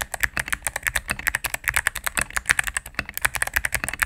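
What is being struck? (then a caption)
Mechanical keyboard with plastic keycaps. A cream full-size mechanical keyboard with plastic keycaps on a solid plastic case is typed on rapidly with fingertips and medium nails. About thirty crisp, dry clacks follow in quick succession, each with a bright click centred near 1.8 kHz and almost no ring. There is little low-end thump.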